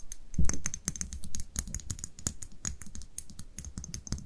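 Long nails rapidly tap and scratch a small amber glass dropper bottle with a label and its cap while it is held in the hands. A dense run of short, dry clicks with bright, high ticks sits over a soft low rumble. Each tap dies away almost instantly.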